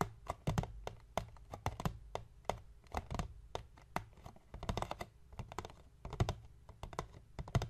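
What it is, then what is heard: Cardboard box. Fingertips of both hands tap rapidly on the top of a hollow, medium white cardboard (paperboard) box lying on a wooden table. The taps come in quick, uneven bursts of short, dull, low thumps with soft clicky edges that stop dead with no ring.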